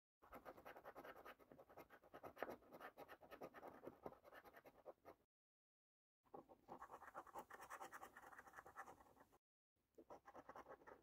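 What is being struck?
Paper scratch card with latex scratch-off coating.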